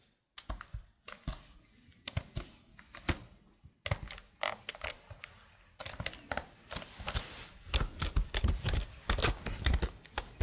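Long blue nails type on the keys of a slim black plastic computer keyboard held flat near the microphone. The result is a run of uneven, clicky taps with short thuddy bottoms and bright clacks. The typing speeds up into dense bursts toward the end.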